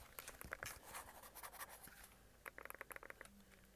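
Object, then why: Plastic handheld game console. Fingertips and nails scratch and tap the back of a white plastic, tablet-sized Logitech G Cloud handheld game console. Soft, dry scratching rustles across the first two seconds, then a quick run of crisp, bright taps follows. A faint low hum lingers underneath near the end.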